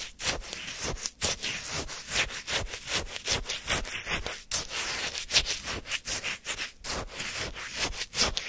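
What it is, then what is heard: Shaved-ice sorbet being scraped. A flat wooden spoon digs into and scrapes the frozen surface of a full paper cup of orange shaved-ice sorbet chunks. Quick, bright, crunchy scraping strokes repeat in an uneven rhythm, each a short gritty rasp of ice with little low end.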